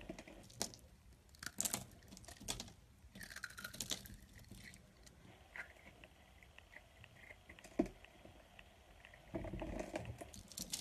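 A solid beige soap bar held in the palm is shaved into flakes with a utility blade. Quiet, dry scraping and soft crackling strokes come in irregular bursts, and a broader rasping pass closes the clip.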